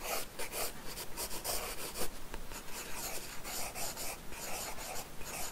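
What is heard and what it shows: A wooden graphite pencil scratches and strokes across the page of an open paper sketchbook lying on a solid wooden desk. The sound is a continuous, bright, papery scratching in quick, uneven strokes with brief pauses between them.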